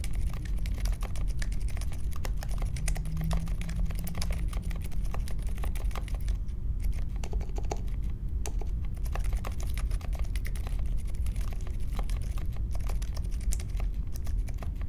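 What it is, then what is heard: Mechanical keyboard. Continuous fingertip typing on a compact Polaris mechanical keyboard with Silent Alpaca switches, a metal case and plastic keycaps, resting on a marble desk. A steady stream of soft, muted keystrokes gives a deep, thocky clatter with very little bright click. Each press dies away almost at once.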